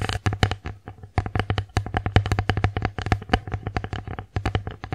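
Long acrylic nails tap the face and rim of an empty wooden bear-face plate tilted in the hands, making a quick, uneven run of about 35 crisp, hollow clicks. Each tap has a short low knock and dies away almost at once, with brief pauses between bursts.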